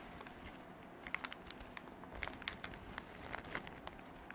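Long dark artificial nails scratch a small cream canvas zippered pencil pouch with printed drawings, soft and hollow, held in both hands. Quiet, steady scratchy rustling is heard, broken by scattered sharp, bright clicks and crackles that die away almost instantly.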